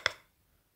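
The tip of a blue marker rubs and scratches along the surface near the end of a light, solid wooden board held in one hand. A single quick, bright tick with a clear mid-high tone is heard, then fades almost at once into near silence.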